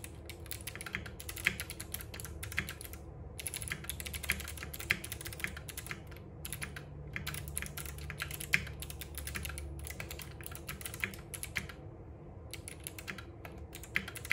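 Both hands type continuously with their fingertips on a compact RGB-backlit mechanical keyboard with plastic keycaps and clicky switches resting on a wooden desk. Dense bright clicks and clacks run in quick flurries with a few short pauses, over a steady low rumble.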